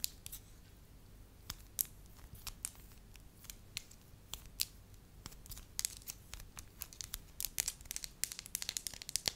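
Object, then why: Pliable wax sheet. Long lavender nails tap and scratch a flat, hand-sized, pale yellow pliable wax sheet while fingers crinkle it. The result is a steady stream of sharp, bright clicks and crinkly crackles that die away instantly, scattered irregularly over a quiet background.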